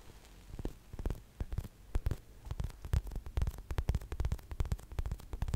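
A large blue-green-pink gradient unicorn squishy toy made of solid, soft polyurethane foam is held by a microphone and tapped and scratched with long nails. The result is a dense series of soft, low, muffled thumps with faint crackly scratching underneath.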